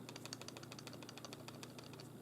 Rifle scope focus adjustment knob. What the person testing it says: when I shake this it has a little bit of a rattle and that rattle is the focus adjustment knob being backed away and it's shaking